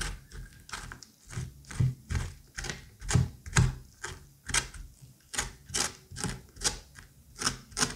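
A curette scrapes and scoops the seeds and wet pulp out of a pumpkin squash half. About seventeen short, wet, slippery scraping strokes come in an uneven rhythm of roughly two per second. Each stroke has a soft low thud under a bright, crackling hiss and dies away quickly.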